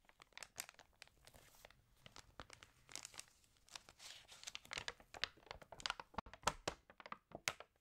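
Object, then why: Glossy paper magazine. Long nails and fingertips scratch, rub and turn the crinkled pages of an open, water-damaged glossy paper fashion magazine. Quiet, bright crackles and sharp crinkling snaps come in uneven bursts, with soft rustling sweeps between them.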